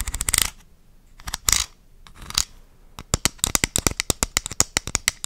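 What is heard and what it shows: A medium purple plastic vitamin bottle with a white cap and a paper label, looking filled, is tapped and scratched with long dark-painted nails. Short bursts of bright scratching come first, followed by a run of about 20 quick, crisp taps with a high, clicky tone and almost no ring.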